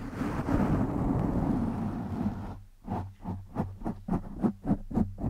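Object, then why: Foam microphone windscreen. Fingertips and short nails scratch and rub the surface of a black foam windscreen over a microphone. A continuous dense, low rumbling rustle gives way to a series of separate scratchy strokes with a low, boomy body.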